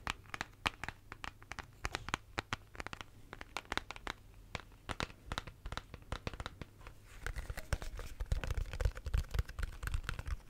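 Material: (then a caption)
Plastic. Fingernails tap and scratch the body of a hollow pink plastic shaker bottle with a lid, making a quick run of sharp, crisp clicks over a faint low hum. After about seven seconds the scratching grows denser and louder, turning into a busy, crinkly rasp with a heavier low-end thud.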